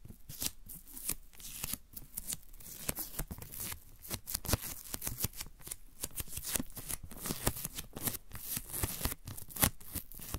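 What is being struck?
Paper masking tape strip.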